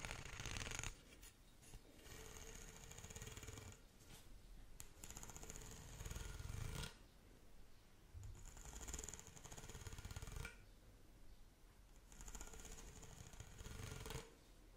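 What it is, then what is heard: Plastic pop tube toy scratched along its ridges. Long nails scratch and run along the ridges of a long, hollow, pink corrugated plastic pop tube toy held in both hands. The result is a dense, rapid rattling rasp with a low, rumbling body and a bright, whistly edge. It comes in several sustained bursts separated by quieter stretches.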